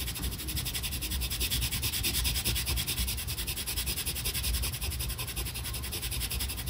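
A brown colored pencil is pressed hard and rubbed back and forth across a flat paper coloring page in dense, rapid strokes. It makes a steady, rhythmic scratchy rubbing with bright, papery hiss over a low, rumbling texture, pulsing with each stroke throughout.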